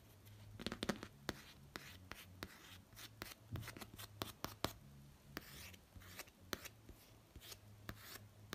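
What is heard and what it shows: A fingertip traces and rubs over the face design on the pop-art printed hard cover of a notebook lying on a bedspread. Soft, scratchy rubbing is broken by many sharp, dry clicks and light taps that die away instantly, over a faint low hum throughout.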